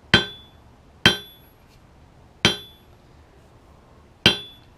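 A 3 lb sledge strikes a 128 lb Peter Wright wrought iron anvil sitting on a maple stump, with its turnbuckle hold-down chains loosened. Four separate, irregularly spaced hits each give a sharp, bright metallic clang with a high ring near 3.2 kHz that decays quickly. The anvil rings loud and pingy because the chains are loose.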